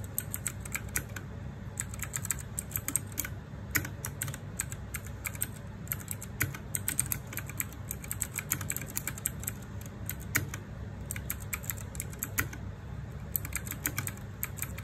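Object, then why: Mechanical keyboard, plastic keycaps. Fast fingertip typing on a small 60% RGB-backlit mechanical keyboard with plastic keycaps produces a steady stream of quick, bright, clacky keystrokes. The clacks are short and dry over a soft, constant low hum.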